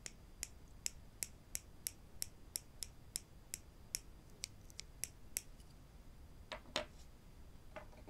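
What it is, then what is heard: Wooden clothespins tapped together. Two small, solid wooden spring clothespins are held in the fingers and tapped together, then left lying still on the table. The result is a steady run of crisp, bright, dry clicks with almost no ring, ending in a few softer, irregular taps over a quiet, low background hiss.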